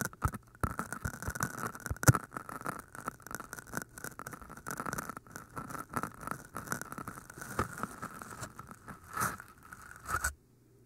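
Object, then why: Floral foam cylinder. Long painted nails tap and scratch the tops of two identical hand-sized, pale green cylinders of solid porous floral foam with microphones inside. The result is a dense, steady stream of soft scratchy crackles and dull taps, with a few louder knocks, before it stops abruptly near the end.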